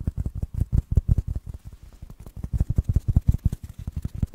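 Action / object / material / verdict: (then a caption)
tap / foam block / foam / none. A small black foam block that looks solid and porous is held in one hand and tapped and scratched with the fingertips and nails of the other. A rapid, uneven series of soft, dull, low thuds follows, each dying away almost instantly with only faint brighter scratching above.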